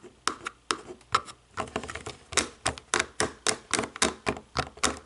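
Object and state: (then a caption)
Plastic TV remote. Long nails tap and click the white buttons of a hollow black plastic DVD/TV remote. A quick, uneven run of sharp, dry plastic clicks and taps is heard, each with a bright attack, a short hollow tone around 1.3 kHz, and almost no low end or ring.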